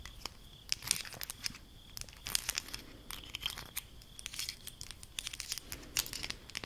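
A small bundle of colorful ridged plastic highlighter pens is held together and scratched and tapped with long acrylic nails. The result is bright, crisp scratching and rapid clicking taps in quick irregular bursts. A faint steady high tone runs underneath.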